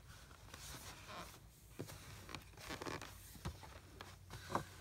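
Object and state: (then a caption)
Kinetic sand in a plastic tray. Both hands press, pat and compact a mound of brown kinetic sand in a blue plastic tray. Soft, gritty crunching and scraping runs throughout, broken by irregular muffled pats and a few sharper, brief taps with little ring.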